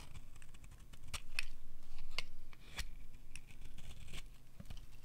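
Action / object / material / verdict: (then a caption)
scrape / bar of soap shaved with a metal blade / soap / none. A metal utility knife blade scrapes along the edge of a solid oval bar of dry blue soap held in the hand, shaving it into long curls. Dry, crisp scraping strokes with sharp ticks and crackles repeat in an uneven rhythm over a faint low hum.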